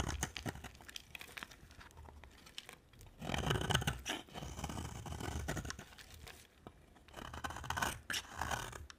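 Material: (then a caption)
Soap. A utility knife blade scrapes shavings off a solid white and red-orange dry soap bar held in the hand, with repeated strokes. Dry, crunchy scraping sounds come in quick, uneven strokes, swelling into louder, bright, noisy stretches. Shavings peel off the bar with each pass.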